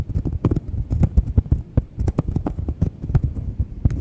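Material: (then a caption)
Cork. Long nails scratch and tap a thin, solid round cork coaster, sometimes held edge-on to the mic. The result is a rapid, irregular series of dull, low thuds with very short decay, with faint bright scratchy edges on some strokes.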